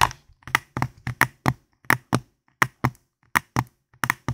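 A hand-sized, hollow white and black plastic gamepad is held in both hands near a foam microphone while fingertips and nails tap and click its buttons and shell. About sixteen short, dry taps and clicks sound at an uneven pace, each with a bright plastic snap over a soft low thump. Every hit dies away almost instantly, leaving silence between them.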